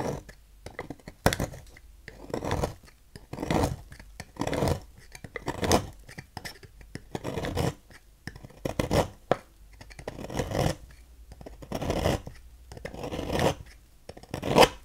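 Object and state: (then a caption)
Bar soap being carved. A knife blade scrapes and cuts shavings off the end of a solid pink-and-white striped oval Fax bar soap on a table. Repeated soft, crisp scraping strokes come in short bursts with brief quiet gaps between them, and the clip ends on a slightly sharper stroke.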